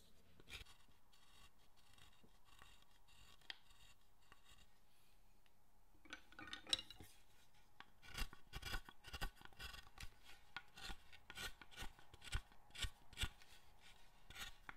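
A metal carving chisel shaves and scrapes the surface of a large, solid pale-wood Buddhist guardian figure, held in hand on a workbench. The first six seconds hold only a few faint, sparse scrapes. After that, short, dry, bright shaving strokes arrive in an uneven rhythm and get louder toward the end.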